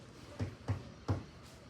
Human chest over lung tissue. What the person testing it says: si no hay nada, entonces van a escuchar así como esto, ¿no? Es un ruido muy fuerte